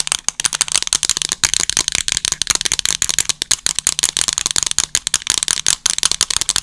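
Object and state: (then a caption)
Plastic TV remote control. Long acrylic nails rapidly tap and scratch the buttons and casing of a small, hollow black plastic TV remote control held horizontally against the microphone with both hands. About 25 sharp, dry clicks and scrapes come in quick bursts, bright and crisp with almost no low end and no ring. Faint mouth sounds may be mixed in.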